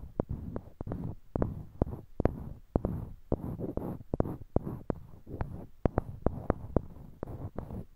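Small, solid, light-colored wooden cubes, held in pairs in each hand near a binaural mic, are clicked and knocked together with the fingertips. About 26 short, dry, sharp taps sound at an uneven pace, with soft low handling sounds in between. Each tap dies away almost at once.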